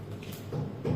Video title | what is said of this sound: 🟢#13🦠 LIQUIDO DE PUNCION / auxi. Josias / martes 10 de junio | un sonido vacío, retumbante, pero aquí no hay, aquí hay más que todo aire